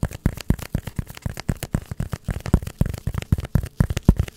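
Long nails scratch and tap a hand-sized, solid block of white polystyrene foam in a quick, uneven run of short, dull knocks with soft scratchy rustle between them. The sound is deep and muffled, with almost no bright edge, and each tap dies away almost instantly.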